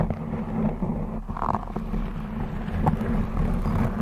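Long blue acrylic nails scratch and tap a black textured knit fabric cover stretched over a rounded microphone head. The result is a steady, muffled low rumble of scratching with soft dull taps mixed in, and almost nothing bright on top.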